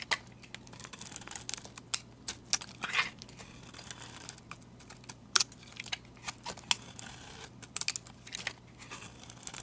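A metal utility blade shaves large curls off a solid white soap bar with a painted face, held in the hand. Quiet, crisp scraping and crackling strokes come in short bright bursts, with a few sharper snaps standing out over a faint low hum.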